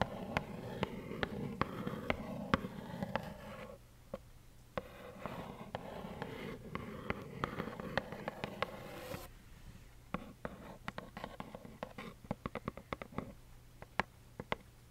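Long acrylic nails tap a small, hollow, plaid cardboard tissue box that has tissues inside. The taps are quick and sharp, some scattered and some in brief runs. They sound dull and papery over a low, steady background hum.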